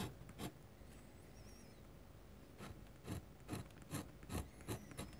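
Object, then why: Metal pen nib on a paper sheet. A metal dip-pen nib scratches hatching strokes across a large, flat white paper sheet. Quiet, continuous rubbing is broken by short, bright scratchy strokes that speed into a steady rhythm in the second half.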